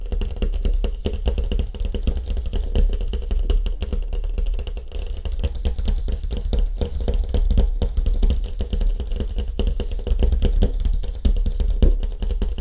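Fast fingertip tapping on a surfboard with a wood grain finish makes a steady stream of quick, dull knocks. The knocks are deep and muffled, centered low around 66 Hz, and each one dies away almost at once with little ring. The tapping keeps an even, busy rhythm throughout.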